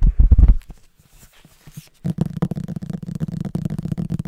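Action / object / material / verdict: tap / hardcover book with glossy cover / cardboard / none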